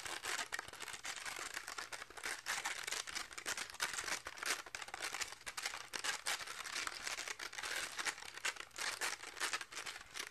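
Fingertips and nails rapidly scratch and rub the fuzzy purple and orange felt/velcro pad of a round pink plastic velcro catch paddle held in both hands. The result is a dense, continuous bright crinkling scratch with quick rough bursts that swell and fade. There is almost no low end and the sound has no ring.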